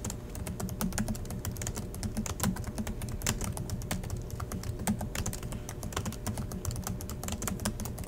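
Both hands type steadily with their fingertips on the black plastic chiclet keys of a silver Acer laptop resting on a desk. The result is a fast, continuous stream of short, crisp key clicks that die away almost instantly. A steady low hum runs underneath.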